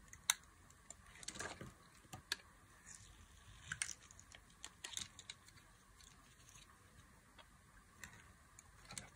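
A box-cutter blade cuts thin slices and fine fringe into the edge of a solid white bar of dry soap. Quiet, crisp scraping and sharp ticking cuts come in scattered bursts, bright and dry with almost no ring.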